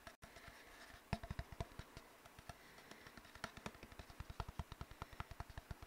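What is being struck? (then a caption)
Cardboard tube. Fingertips tap on an empty, hollow brown cardboard tube while a nail scratches along its surface. About 32 short, dry, low hollow thumps are heard, pitched around 113 Hz, with a faint scratchy rustle running between them. The taps are sparse at first, then come in a quicker, steadier run toward the end.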